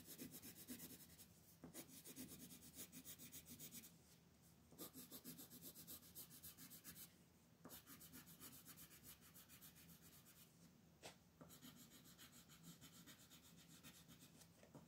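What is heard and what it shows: A pink colored pencil rubs and scratches along the outer ring of a thin mandala paper sheet held flat by one hand. Quick, steady scratchy strokes make a bright, dry hiss, broken by short pauses and a few sharp ticks where the pencil lifts and sets down again.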